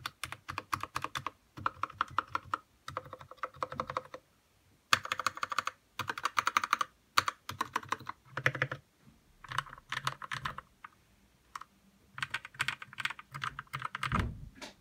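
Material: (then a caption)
Plastic. Fingertips type continuously on a white RK61 60% mechanical keyboard with plastic keycaps, lubed red switches and RGB lighting, resting on a desk. Rapid, dry, clacky keystrokes come in bursts separated by brief pauses, with a mid-pitched tone around 1.2 kHz and no lingering ring.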